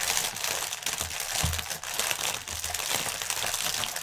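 Both hands crinkle and press with their fingertips a clear, hollow, air-filled plastic air-cushion packaging strip lying on a table. The result is dense, continuous bright crinkling, with a few soft low thumps where the air pillows are pressed down.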